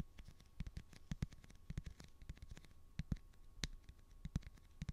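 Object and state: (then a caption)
Plastic phone case on a smartphone. Fingernails tap and scratch the back of a light blue plastic phone case on a handheld smartphone. A quiet, irregular run of short, dry taps is heard, each a soft low thump with a brief bright click and almost no ring. Faint scratching fills the gaps between the taps.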